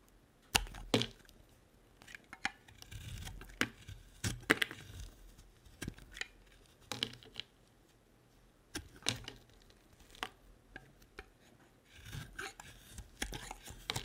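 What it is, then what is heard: Bar of soap being cut. A solid white faceted bar of soap, held in the hand, is cut into chunks with a utility-knife blade. A series of short, crisp cracks and snaps with bright, dry edges comes through, separated by quieter scraping and crumbling between cuts.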